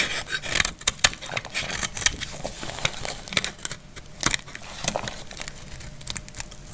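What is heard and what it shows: A metal utility blade shaves a dry, solid purple glycerin soap bar held in the hand, dropping purple shavings onto a pile below. A series of short, dry, bright scraping crackles with quick rasping strokes, each dying away almost instantly with very little low end.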